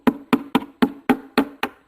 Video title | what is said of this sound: Yamaha CT175 restoration - gas tank, success and failure | tap on this and listen for some changes and it's a little sketchy